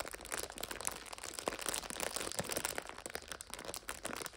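Long striped acrylic nails press, scratch and crinkle a full purple 5-pack of instant noodles in a crinkly clear plastic overwrap resting on a sofa. A steady stream of bright, dense crinkling and crackling with sharp little crunches and almost no low end fills the clip.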